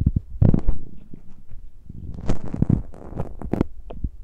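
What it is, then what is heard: Metal mesh microphone grilles scratched. Fingertips and nails scratch and rub the uncovered metal mesh grilles of the small X-Y microphone capsules on a handheld Tascam recorder. The result is a run of close, muffled, low thumping and rumbling scrapes, with a few brief brighter scratchy ticks on top.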